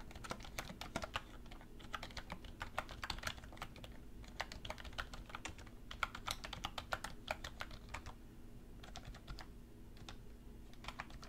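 A black plastic computer keyboard on a wooden desk is typed on with both hands, using fingertips and long red nails. Quick, sharp, bright key taps come in uneven bursts with brief pauses. Underneath is a quiet, steady low hum.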